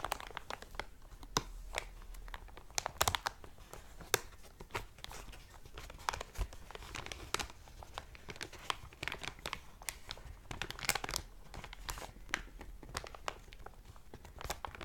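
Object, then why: Thick clear plastic bag. Fingertips and long painted nails press, rub and crinkle an empty, thick, clear plastic cellophane packaging bag lying flat on a black cloth. Dense, sharp crackles and snaps run bright across the whole clip at a steady level, with a detached cardboard header left untouched nearby.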